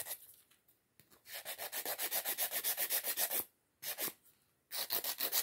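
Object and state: Acrylic nail being filed.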